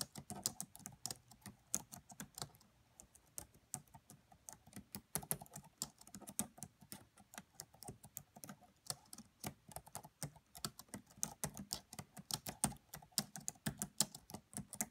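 Fingertips with long nails type fast on the black plastic keys of a red laptop keyboard. The result is a quiet, steady stream of short, crisp clicks, bright and dry with almost no ring, in uneven bursts with brief pauses.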